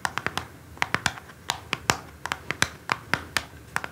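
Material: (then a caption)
Cardboard. A small orange cardboard perfume box, first on a table and then held, is tapped with a single long nail and then scratched and tapped with several long nails. Eighteen crisp, dry clicks ring out with bright papery upper tones and almost no low end, each dying away almost instantly.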